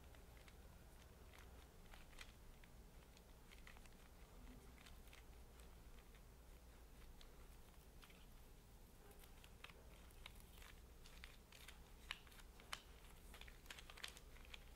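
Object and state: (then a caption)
Bundle of wooden paint brush handles. Fingertips and short nails scratch and tap along a bundle of thin, solid, unpainted wooden paint brush handles held together by a rubber band. The clip is quiet, with soft crackly scratching and scattered light, sharp ticks over a steady low hum.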